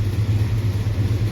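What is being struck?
Nothing is struck.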